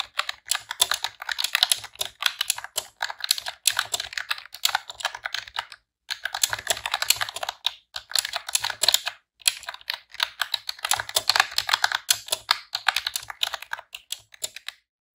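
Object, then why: Plastic computer keyboard. Rapid typing on a pink retro-style plastic computer keyboard with round keycaps, pressed with long press-on nails and fingertips. Dense bursts of bright, sharp clicks and clacks run almost continuously, broken by brief pauses near the 6 and 9 second marks.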